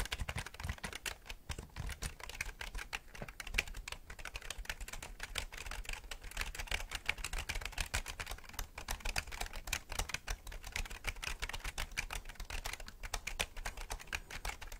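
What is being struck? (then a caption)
Plastic computer keyboard. Fingertips type and tap rapidly on the keys of a black plastic gaming keyboard with a hollow body, held tilted in front of the camera. A dense, steady stream of short, bright plastic clicks continues throughout, each dying away almost instantly over a faint low hum.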